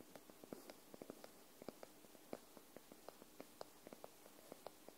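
Long nails tap the top paper edge of a white paperback book held upright, making a steady run of quick, dry clicks with a soft papery body and a bright tick on each touch. The taps die away almost instantly over a faint background hiss, and the book sounds solid.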